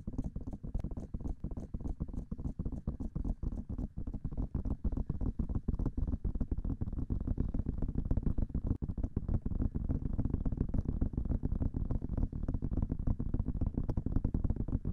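Long glossy nails rapidly tap and scratch the hollow white silicone ear covers on both sides of a black binaural microphone. The result is a fast, steady stream of short, muffled thumps, deep and boomy, with faint bright clicks at the start.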